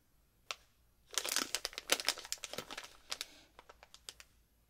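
A medium-sized, full plastic bag of Vidal watermelon slices candy is held in both hands and flexed and rubbed with the fingertips, giving a bright, crisp crinkling with almost no low end. After a single sharp crackle, a dense burst of crinkling follows, then thins into sparser separate crackles before fading out.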